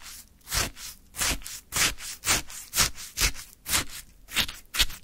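A wooden stick scrapes and digs into a full plastic cup of orange frozen shaved ice. Repeated crunchy, gritty scrapes come about twice a second, each a bright, hissy burst with a little low thump underneath. Short quiet gaps fall between the strokes.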